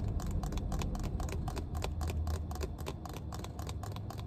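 Long red nails tap and scratch the white plastic cap of a small clear plastic water bottle full of water. Quick, irregular, dry clicks with bright edges and short scraping strokes sit over a steady low rumble.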